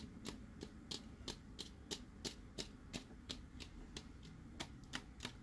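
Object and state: Plastic sipper cup.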